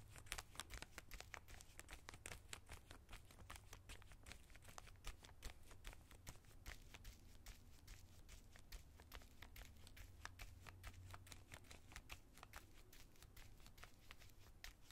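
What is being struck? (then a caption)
Plastic zip-lock bag holding plastic collar stays. A small bristle brush scratches along the edge of a small clear plastic zip-lock bag holding white plastic collar stays, near the zip. It makes a steady run of quick, crisp crinkling scratches with bright, sharp edges over a quiet low hum.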